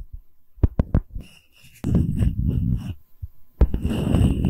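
A solid wooden tree slice coaster with bark, held flat, is tapped on its bark edge and face with long nail tips. A few sharp, low knocks are followed by bursts of dense, rapid tapping and scratchy rubbing with a faint high hiss over the top.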